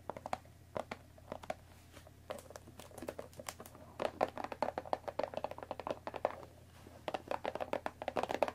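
Long, dark-painted nails scratch and tap across the top and sides of a closed Earl Grey tea box made of thin printed cardboard, about 20 cm long and likely full of tea bags, resting on a wooden table. Quick, dry, papery taps and brushing scratches come in irregular clusters with short quieter pauses, each tap dying away almost instantly over a faint steady low hum.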